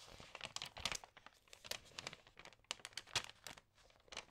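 Fingertips rub and turn the glossy pages of an Allerhande paper magazine, crinkling them. Quiet, bright, papery crinkles and rustles come in quick, dry bursts with almost no low end and no ring, separated by soft pauses.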